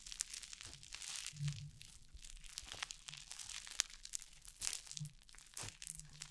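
A handful of soft, crunchy orange foam slime is held close to a microphone and kneaded and squeezed with fingers and long painted nails. It gives off dense, bright crackling and crunchy popping, with occasional soft, low squishy swells as the foam is pressed.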